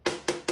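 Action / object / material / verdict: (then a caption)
knock / wooden brush handle on a wooden desk / wood / none. The handle of a supposed brush is knocked three times on a wooden desk, giving short, hollow, woody knocks with a mid-pitched tone around 355 Hz that fades quickly after each hit. The knocks sound like a plain stick striking wood.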